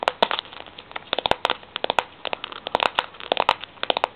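Long fingernails tap and scratch the bare, ridged steel end of a Milo tin held in both hands. A rapid, irregular series of sharp, bright metallic clicks and short scratches follows, each dying away almost instantly, with little low end.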